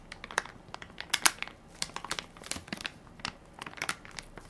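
A full, soft plastic-film baby wipes pack with a plastic lid is held in one hand while fingertips and nails crinkle and scratch its film top. The result is a quiet, uneven run of crisp, bright crackles and short scratchy ticks, with the sharpest snaps just past the first second.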